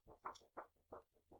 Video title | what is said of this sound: Crafty 101 - Paper: Weight, Characteristics and Grain Direction | you can hear it makes a different sound than this one